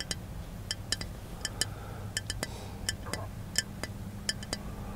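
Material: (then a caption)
Glass. Fingertips tap the glass body of a small capped glass milk bottle held up close inside a car. About 17 short, bright clinks with a high glassy ring land at an uneven pace over a steady low hum.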